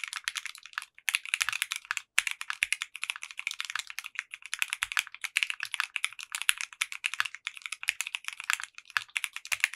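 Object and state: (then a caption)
Mechanical keyboard with polycarbonate keycaps. Fingertips of both hands type steadily on a compact 60% mechanical keyboard with clear pink polycarbonate keycaps and a translucent case. The result is a fast, continuous run of bright, crisp clacks with very short, dry decay and almost no low end, with only brief pauses between bursts.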